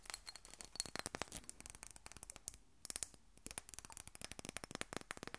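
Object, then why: Small glass perfume bottle. Long nails rapidly tap and scratch a small, rectangular textured glass perfume bottle that is hollow and partly filled and held in both hands. The result is a dense stream of quiet, sharp, bright clicks with almost no ring, mixed with faint scratchy rasping and a short lull near the middle.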